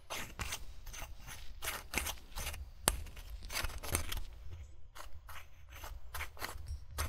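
Fingertips grip the gold metal screw cap of an empty-looking brown glass wine bottle, which lies on its side on grey fabric in front of a recorder, and twist it back and forth. A steady run of short, dry ratcheting scrapes comes in quick bursts with bright, gritty edges, over a constant low rumble.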